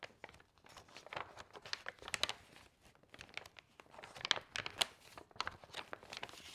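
Fingertips and long nails grab the edges of a stack of loose, thin, glossy magazine pages and turn them over one by one. Crisp, bright crinkles and rustles come in irregular bursts, with sharp clicks and little low end.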